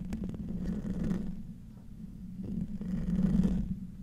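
Short nails and fingertips of both hands scratch the hollow metal mesh grille of a silver microphone. The result is a dense, low, rasping rumble that swells in two long passes, with a steady low buzz underneath and faint bright scratchy edges.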